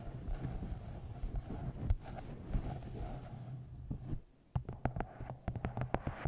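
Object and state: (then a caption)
Paperback book tapped. Long green-painted nails tap the top edge and glossy card cover of a medium paperback novel, 'Twisted Love', with a solid paper block, held upright in front of a microphone. A dense run of soft, low, dull taps gives way to a brief near-silence, then a series of sharper, separate clicks and thumps. Each tap is dry and dies away almost instantly.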